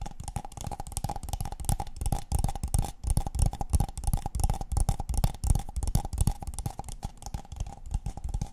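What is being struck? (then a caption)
Paper cup. A tall, empty, hollow brown kraft paper cup, held upside down near the microphones, is tapped and scratched on its side and base with long painted fingernails. The result is a fast, uneven stream of dull, hollow, low thumps that stop almost instantly, with a faint steady mid-range ring and soft scratchy hiss between them.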